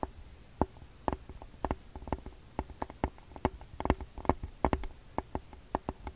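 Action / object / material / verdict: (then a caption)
tap / plastic handheld audio recorder / plastic / none. Fingertips and short nails tap and drum on the front plastic body and screen of a TASCAM DR-40X handheld audio recorder, a small hollow plastic device held in both hands. The result is a rapid, irregular series of short, dry, hollow clicks and knocks with a low thump underneath and almost no ring.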